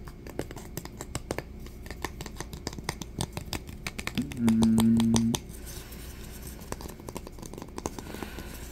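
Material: Wood.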